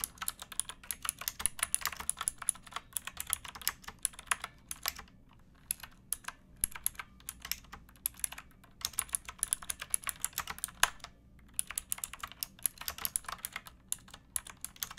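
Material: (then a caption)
Plastic. Fingertips with painted nails type on a pink backlit plastic mechanical keyboard with round keycaps and a hollow case, which rests on a wooden box. The result is a steady stream of quick, bright, clicky keystrokes in bursts, with short pauses near five, eight and eleven seconds.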